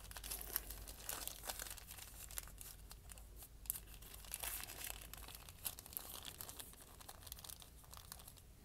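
A small folded, crumpled sheet of white lined notebook paper is crumpled and crinkled by hand, held by fingers with dark painted nails over a wooden surface. Soft, continuous bright crackles and crinkles run throughout, with a few sharper snaps over a faint low hum.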